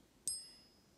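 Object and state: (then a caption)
Genuine gold coin. A Canadian Maple Leaf gold bullion coin is tapped once, giving a single bright, high-pitched ping that rings out with a longer sustain than the other metal it is compared against. The longer ping marks the coin as authentic gold.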